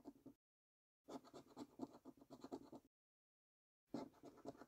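A coin edge scratches the latex-coated number panels of a new £5 Prize Portal paper scratch card resting on a dark table. Dense, rasping strokes arrive in three bursts separated by silent gaps, with a dry, mid-range grain and little low or high content.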